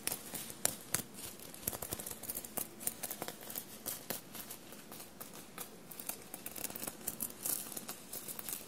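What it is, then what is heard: Sequinned fabric shirt being scratched. Short blue-painted nails scratch and rub a dark blue soft fabric shirt bunched on a table and covered in small silver paillette studs. The result is a quiet, steady run of bright, crinkly scratching and tiny clicking ticks, each dry and stopping at once with no ring.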